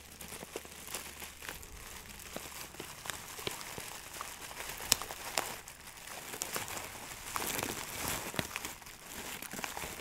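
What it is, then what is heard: Plastic bag of dried herbs. A medium clear plastic bag filled with small dried granular buds, possibly lavender or herbs, is held close to the mic and squeezed and crinkled with the fingertips. Soft, bright crinkling and crackling runs throughout, dotted with short sharp snaps and a few louder rustling swells toward the end.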